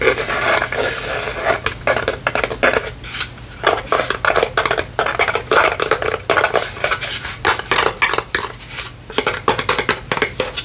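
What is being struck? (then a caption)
Small wooden cutout lantern. A small hollow wooden palm-tree cutout lantern is held and tapped with long painted fingernails. The result is a steady stream of quick, dry, bright clicks and light scratchy taps with almost no ring, pausing briefly now and then over a faint steady low hum.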